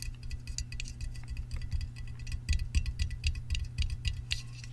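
Fingertips and nails tap and scratch the top rim and side of a hollow Sparkling Ice aluminum drink can of unknown fill level, which is then held up. Quick, irregular light taps give bright metallic ticks and short scratchy clicks with almost no ring, over a steady low hum.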